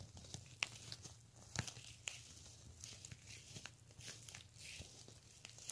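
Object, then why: Plastic beaded handbag. Fingernails scratch and tap along the pink and clear beads of a pink plastic beaded handbag. The result is quiet, bright clicking and rasping, with short sharp taps that stop dead over a faint low hum.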